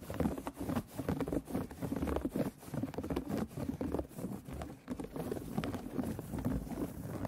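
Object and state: Embroidery hoop fabric tapped and scratched.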